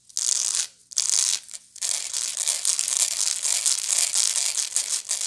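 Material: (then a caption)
Straw. Long nails scratch the woven side of a medium, hollow woven straw bag held up by the face. The result is a dry, bright, crackly rasp: a few short bursts with brief pauses, then steady continuous scratching with no low end.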